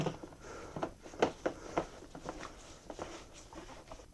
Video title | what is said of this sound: 2016 KTM 85 SX Full Chassis and Engine Check- Loss of Power, Hard to start? | if you shake it you can hear the ball valve in there